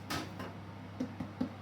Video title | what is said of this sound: LBF Soda Bread | lovely hollow sound when you tap it, so that's ready